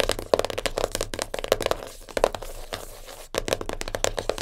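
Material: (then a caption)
Cardboard. Long nails rapidly tap and scratch a small black printed cardboard jigsaw puzzle box lying flat. Quick, dry, papery clicks with a hollow mid-pitched knock come in fast bursts. A quieter stretch of rough scratching follows, and then the tapping picks back up.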